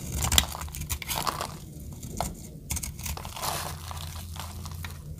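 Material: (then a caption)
Soap. A metal utility blade carves a solid blue oval bar of dry soap held in the palm, shaving it into brittle flakes. Repeated dry, crisp crunching and scraping cuts sound bright and short, over a steady low rumble.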